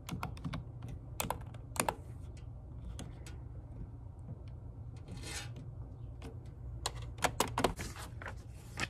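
A full-size plastic computer keyboard with hard plastic keys is typed on by fingertips with long acrylic nails, close up. Sharp, bright clicking taps come in uneven bursts over a steady low hum, with a brief rushing hiss in the middle.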